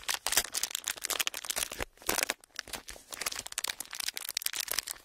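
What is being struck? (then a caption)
Clear plastic film. A pleated sheet of clear plastic film is squeezed, folded and crinkled by fingers. It gives a dense run of sharp, bright crackles and snaps that come in quick bursts with short pauses between them. Almost all the energy sits high, with very little low end, and each snap dies away at once.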